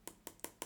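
Four light taps on the back piece of the plastic housing of Shure SRH840 headphones produce short, bright clicks that die away almost instantly. The housing sounds hollow.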